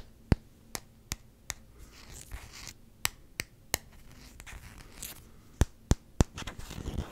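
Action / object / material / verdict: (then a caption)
tap / hard rubber hockey puck / rubber / none. Short fingertip nails tap and scratch a small solid black rubber hockey puck with a round Canucks logo sticker on its face, held close to the microphone. About ten sharp, dry clicks stand out at uneven spacing, with soft brushing scratches between them and low background noise from outside.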